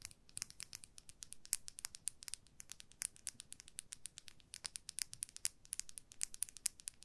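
A hand-length makeup brush with a white plastic handle, a shiny dark metal ferrule and dense bristles is held across both hands and scratched and tapped along the handle and ferrule with long manicured nails. The result is a quiet, rapid stream of crisp, bright clicks and scratchy ticks that die away instantly, with little low-end body.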